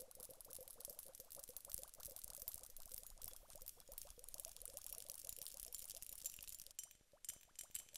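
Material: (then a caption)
Glass. A glass hourglass filled with gel beads and liquid is held in both hands and tilted while long nails tap rapidly on its glass bulbs. The taps make dense, bright clicks with a short ringing glassy tone, over a soft bubbling, pouring wash from the beads and liquid shifting inside. Near the end the tapping thins to a few sparser clicks.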